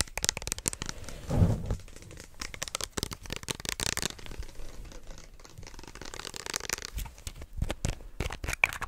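Fingertips and short nails rapidly tap and scratch along the label of a small, hollow white plastic lotion bottle with an orange cap. The result is a dense run of quick, dry taps and bright scratchy rustles with no ring, broken by a louder low thump early on.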